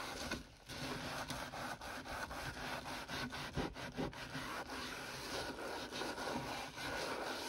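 A hand in a yellow rubber glove scrubs the wet, soapy surface of a large stainless steel kitchen sink basin near the drain with a sponge. A steady, gritty rubbing sound rises and falls with each back-and-forth stroke, with broadband friction noise and a bright, hissy top end.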